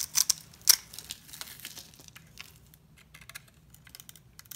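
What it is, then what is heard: Bar soap being carved. A solid cream-coloured bar of soap held in the hand is scraped and carved into small flakes and cubes with a utility knife blade. Bright, dry crisp scraping and crumbly cutting sounds come in several sharp bursts, loudest early on, then trail into fainter intermittent flaking.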